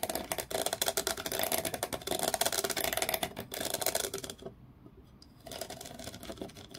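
Fingernails scratch across the ridges of a small, solid, grooved wooden block held between both hands, with taps mixed in. A dense, bright, rapid scratching texture runs for about four and a half seconds, then briefly falls quiet. Softer, duller scratching and tapping pick up again to the end.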